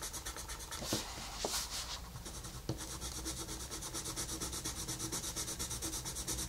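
A wooden colored pencil held in the fingers rubs and scratches across a thin paper page of an adult coloring book with a wolf design, lying flat on a table, while shading. A steady, bright, papery scratching comes in quick rhythmic strokes, with a few sharper ticks early on. The strokes settle into an even back-and-forth pattern toward the end.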